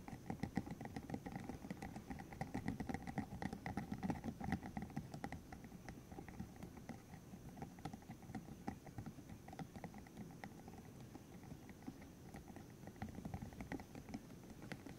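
A green hollow silicone tube about 15 cm long, covered in rubbery spikes, is held in the hands while fingertips flick the spikes, squeeze it and rub it. The result is a dense, steady patter of soft, quick clicks and rubbery scratches, mostly low and muffled with faint brighter ticks, continuing evenly throughout.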